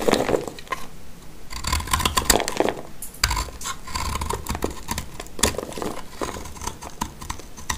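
A black snap-off utility knife blade cuts and scrapes a hand-sized, dry, multicolored soap bar, orange-green with a blue interior, held in the hand, and crumbly flakes fall off. A steady stream of dry, crisp scraping and crunching strokes is heard, with short bright bursts that stop quickly without ringing.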